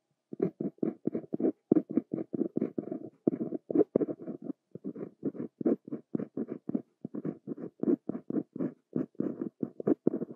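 A fine metal Pilot Elite 95S fountain-pen nib, held in the fingers, writes Korean handwriting across a flat sheet of white writing paper on a desk. Short, dry scratching strokes follow one another in a rapid, steady rhythm with brief pauses. Their energy sits mostly in the low mids, with faint brighter edges.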